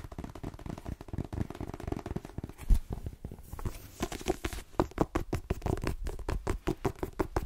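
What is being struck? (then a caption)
Paperback book with glossy card cover. Long nails rapidly tap and scratch the glossy card cover of a solid light-blue paperback book gripped in both hands. The result is a fast, steady patter of short, dull, low-pitched taps with very little high-frequency brightness, mixed with soft scratching.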